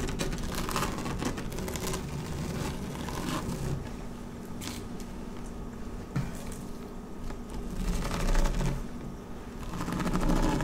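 Long nails slowly scratch across a flat dark blue woven PVC placemat resting on a table. The sound is a continuous dry, rasping scrape with a heavy low rumble underneath, swelling into brighter, louder bursts of grainy texture toward the end.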